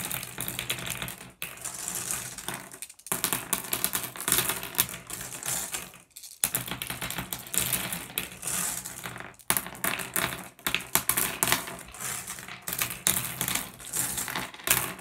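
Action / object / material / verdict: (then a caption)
scrape / pile of small flat glass gems on wood / glass / none. Fingertips rake and shuffle a pile of small, solid, blue iridescent flat glass gems on a wooden surface. The result is a dense, bright clatter of tiny clicks and clinks, broken by a few brief pauses, over a faint low hum.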